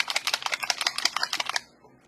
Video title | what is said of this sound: DIY Snowman Cutting Board | you can hear that little BB thing in there